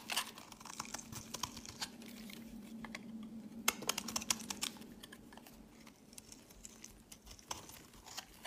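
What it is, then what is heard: Bar of soap being carved. A knife cuts and scrapes a solid light-green soap bar, shaving off curled flakes that pile up on a mat. Crisp, bright clicks and short scrapes come in an irregular stream over a faint low hum near 200 Hz.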